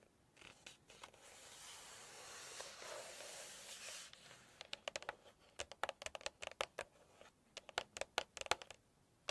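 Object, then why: Glossy paper cookbook pages. Long nails brush and scratch across the glossy printed photo pages of a large open Chinese cookbook, making a steady, bright papery hiss for about four seconds. Then come a series of quick, sharp, dry taps on the pages with brief scratches between them.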